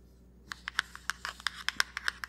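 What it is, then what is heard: Small cardboard box. Fingertips and nails tap and scratch a small black Anastasia Dipbrow Pomade box made of printed cardboard while it is held up. About twelve short, dry, papery clicks and scrapes land in quick succession after a quiet start. Each is bright and crisp with almost no ring or low end.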